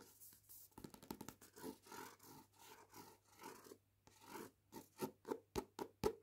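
The card cover of a paperback book, "Cuts Both Ways," held in hand, is scratched and rubbed with long painted nails. Quiet, dry scratching and rubbing strokes come in quick, uneven bursts over a faint steady low hum. The strokes grow sharper and more distinct toward the end.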